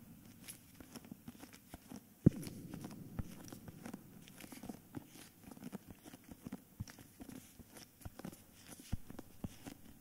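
A solid hardcover book in a cream paper dust jacket is held in both hands while fingertips and nails tap and scratch its front cover. Soft, dull, low taps mix with a dry scratching rustle, with one sharper, louder tap early on. The sound stays quiet and close.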